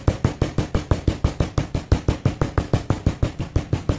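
A stone pestle held by the fingertips pounds and grinds grey powder and small crumbs of crushed slate pencils in a stone mortar, with a bowl of whole slate pencils sitting untouched nearby. Twenty-five dull, low thuds land in a steady rhythm, about three per second, each dying away almost at once with little bright crunch.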